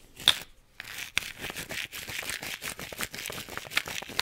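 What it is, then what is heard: Plastic effervescent-tablet tube. A hollow pink-and-green plastic effervescent-tablet tube with a white cap, apparently holding tablets, is held in both hands, handled, shaken and tapped with the fingertips. The sound is a quick, close run of bright, dry plastic taps, clicks and crinkly rattles, almost all high in pitch, with a few sharper taps standing out.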